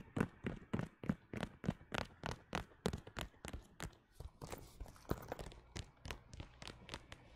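A flat, hand-sized red pebbled faux leather zip wallet with metal studs is tapped and scratched with fingernails. A quick, uneven run of soft, dull taps lands at about three per second, with brief bright scratching mixed in around the middle. Each tap dies away almost at once.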